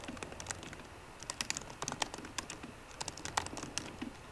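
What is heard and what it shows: Fingertips and short painted nails of both hands type on a 13-inch MacBook Pro keyboard with low-profile plastic keys set in a solid aluminum body. Quick, dry, bright clicks tap out in an uneven rhythm with no ring after each keystroke, some strokes sharper and louder than others.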